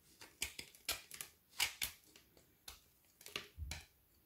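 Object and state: Frozen chocolate bar being shaved.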